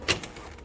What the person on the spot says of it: Donc comme vous avez entendu, elle est en métal. Ça sonne creux